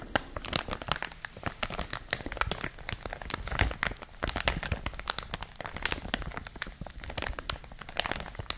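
A clear, thin plastic packaging bag around a printed product is rapidly crinkled with long nails and fingertips. Dense, sharp crackles and crinkles with bright, high rustle and a little low thump from handling follow one another continuously.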